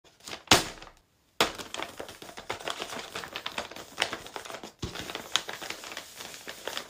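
Fingertips and palms of both hands press and rub a large printed paper blind bag with a Hello Kitty picture, hollow and filled with small wrapped packets, as it lies flat on a cork board, then lift and handle it. A sharp, bright paper crackle is followed by a brief silence, then dense, continuous crinkling and rustling with scattered louder crackles.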